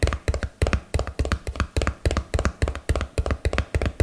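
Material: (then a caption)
Cardboard. A small, hollow, yellow and blue printed cardboard box, held close to the mic, is tapped with fingernails and fingertips in quick, uneven clusters. About 22 short taps are heard, mostly low, hollow thumps with a faint bright click on top, each dying away almost at once.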